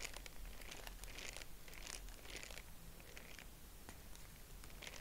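Purple tissue-paper honeycomb is fanned and pinched with fingertips, giving a steady run of soft, dry crinkling and crackling with bright high rustles over a low, constant murmur. The crinkles overlap without clear separate taps, and the level stays quiet and even throughout.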